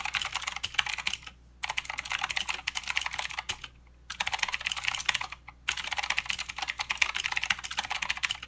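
Fingertips of both hands type fast on a full-size plastic Redragon K552 mechanical keyboard with clicky blue switches, white, grey and green plastic keycaps, and a hollow case resting on a desk mat. Bright, crisp clicks come in dense bursts, broken by brief pauses near 1.5, 4 and 5.5 seconds. Each click is very short with almost no low end.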